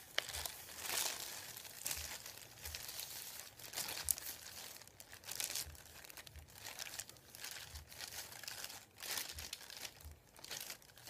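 A thin, flat sheet of printed white paper resting on a wooden table is rubbed and crinkled by fingertips with nails. The result is a quiet, bright, dry crinkling and rustling that swells and fades in uneven bursts, with little low end.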